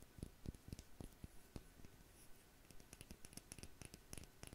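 Long nails tap and scratch the black cap and glass body of a small amber/dark glass dropper bottle with a blue label, held upright. Quiet, dry, quick taps with soft low thumps and bright clicky tops come irregularly, with faint scratching between them and almost no ring.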